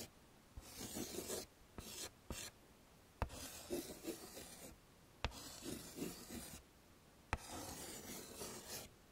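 A hand scratches white chalk strokes onto a flat dark chalkboard in a wooden frame while drawing hair. Bursts of dry, gritty, bright rasping follow one another with brief quiet gaps, and sharp taps of the chalk meeting the board are scattered between them.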